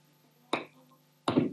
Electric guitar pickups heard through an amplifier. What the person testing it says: I'm just tapping the whole piece so you can hear that pickup is actually working. In the centre, both pickups are working.